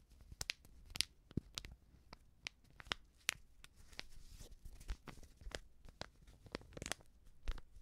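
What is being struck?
Filled coated-paper sachet.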